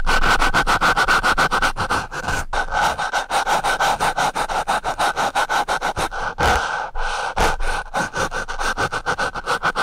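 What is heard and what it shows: The sharpened tip of a wooden pencil scratches a black foam microphone windscreen up close in quick, uneven back-and-forth strokes, roughly three to four per second. Each stroke gives a dry, rasping scrape with a steady midrange band around 1.3 kHz and a hissy bright edge. A few louder, fuller swipes stand out midway through.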